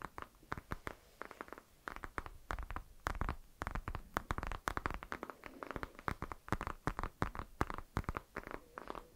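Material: Citrus peel.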